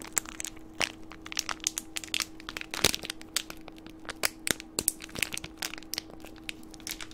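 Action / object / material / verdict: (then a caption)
scrape / plastic candy wrapper / plastic / none. A green plastic candy wrapper is held between the fingertips and squeezed and crinkled close to a microphone. It makes a dense run of sharp, bright crackles and crinkles, some louder snaps standing out, each dying away almost instantly. A faint steady low tone runs underneath throughout.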